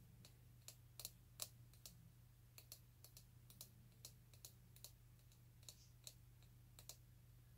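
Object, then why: Small plastic bottle. A small, hollow orange plastic vitamin bottle with a white cap is held close and tapped and scratched with fingernails. About twenty sharp, bright plastic clicks ring out briefly over a steady low background hum.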